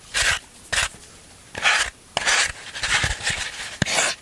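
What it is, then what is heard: Floral foam block being scraped. A black scraping tool rubs and rasps across the surface of a solid green floral foam block held in the hands. It makes a series of bright, breathy, crunchy scraping bursts separated by brief pauses, with a sharp click near the end.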